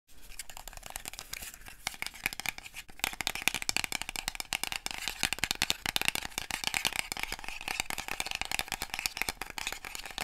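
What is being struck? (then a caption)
Small paperboard box. Long manicured nails tap and scratch the sides and edges of a small, hollow, white printed paperboard box held in both hands. The result is a dense, continuous stream of dry, bright clicks and scratchy rasps, mostly high-pitched with little low end, pausing briefly near the three-second mark before continuing.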